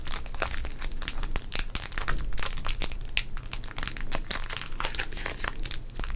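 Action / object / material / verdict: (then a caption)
scrape / sealed plastic trading card pack wrapper / plastic / none. A small sealed teal baseball card pack with a plastic wrapper, full of cards, is held in both hands with the fingertips, flipped front to back, and crinkled and squeezed. Dense, bright crackling runs without a break, with sharp crisp snaps over a low steady hum.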